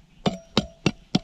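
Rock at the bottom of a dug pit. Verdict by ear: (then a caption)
Solid. Four sharp, clinking, hammer-like strikes land on the white layer at the bottom of a pit dug while treasure hunting. Each hit is short, with little ring and a faint steady tone carrying between strikes. The hard sound shows this is solid bedrock, not soft dug earth.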